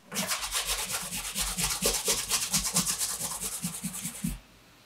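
A dark brown pebbled leather Allen Edmonds MacNeil wingtip shoe (Brooks Brothers), with a shoe tree inside, is held up while its upper is rubbed vigorously with a bare hand to polish it. Brisk, rhythmic, bright swishing strokes with a soft low thump under each pass run steadily for about four seconds, then stop abruptly into quiet.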